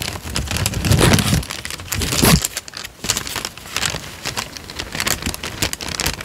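A thin, light-brown sheet of paper, about letter size, is held in both hands close to a microphone while the fingertips bend, flex and crinkle it. The result is a dense, continuous crackle of bright, rustling snaps over a soft low handling rumble. It swells louder around the first and second seconds, then settles into steadier crinkling.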